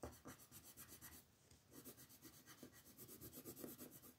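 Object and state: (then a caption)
Colored pencil shading on a paper page. The tip of a wooden colored pencil rubs back and forth across a flat paper coloring book page on a table to shade it, while the other hand, with long nails, holds the page. Quick, steady scratchy strokes give a soft, bright rasping rhythm. The strokes pause briefly partway through, then resume.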